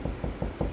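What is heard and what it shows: Four quick knocks on drywall over a wood stud give dull, short thuds with most energy in the low range and almost no ring. The wall sounds solid at the stud.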